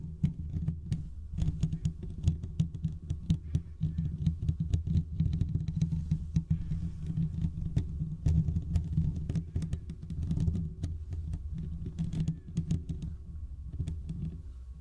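Fingertips and short nails on both hands scratch the hollow domed steel mesh grille of a large desktop condenser microphone. The result is a dense, continuous patter of rapid scratches heard mostly as a heavy, throbbing low rumble, with faint bright ticks on the sharper strokes.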